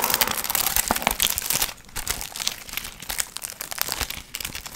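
Long nails scratch and crinkle the gold metallic foil fringe on a medium hollow paper pumpkin piñata. The result is a dense, bright, crackling rustle with sharp clicks. It is loudest for the first couple of seconds, then continues a little softer with scattered crisp snaps.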